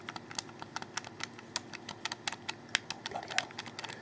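Fingertips rapidly click the triggers underneath a black, hollow, handheld plastic Xbox 360 controller. About 21 sharp, bright plastic clicks come in an uneven, quick rhythm, each dying away almost instantly over a faint steady background hum.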